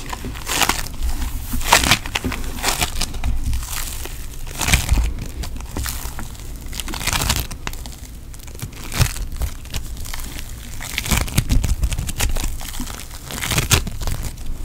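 A solid, soft lump of pink foam bead putty is pressed and squeezed by thumb and fingertips close to the microphone. It makes a steady stream of dense, crunchy crackles and tiny pops with bright edges over a soft low rumble. Louder bursts of crunching come in waves as the putty is worked.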